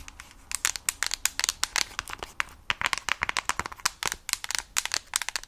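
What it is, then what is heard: Plastic console case tapped with nails. Long nails tap and scratch the back of a Nintendo Switch Lite in a mint plastic case held near the mic. A rapid run of about thirty sharp, bright clicks sits over a soft, crinkly scratching, each tap dying away almost instantly with hardly any low end.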